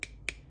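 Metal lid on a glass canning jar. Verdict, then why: Sealed. Two light taps on the metal lid of a glass canning jar of Christmas jam, the morning after canning with the ring removed, each giving a short, bright, solid click with a high ping near 2.3 kHz that dies away almost at once. The lid's tab is popped down and it holds when the jar is lifted by it, showing the jar has sealed.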